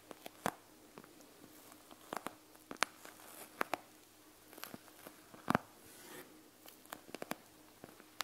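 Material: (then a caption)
Plastic. Long nails tap and scratch a panda gel bead eye mask with a plastic shell and gel beads, lying flat on a table. Sixteen short, sharp plastic clicks stand out over quiet, bright scratching and rustling between them.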